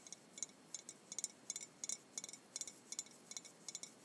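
Long white-painted nails tap and clink on a Jones soda glass bottle with blue liquid inside, held in both hands. Fifteen quiet, bright, very short glassy clicks come at an uneven pace, each with a high, thin ring that dies away almost at once.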